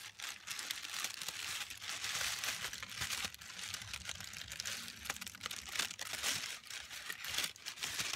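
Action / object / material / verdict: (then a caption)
scrape / thin tissue paper sheet / paper / none. A bunched sheet of thin pink tissue paper is crumpled and crinkled by fingers with long pastel-painted nails. The sound is a steady, bright rustling crinkle packed with quick, dry crackles that rise and fall in bursts over the whole clip, with almost no low end.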